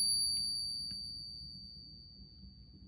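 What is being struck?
Nothing is struck.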